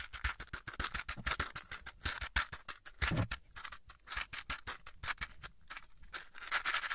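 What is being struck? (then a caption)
Cardboard matchbox. Fingertips in a fingerless glove rapidly tap and scratch the surface of a small yellow cardboard matchbox, possibly holding matches, held in the other hand close to the mic. The result is a dense run of crisp, dry clicks and scratchy rustles with a bright edge and almost no ring after each touch.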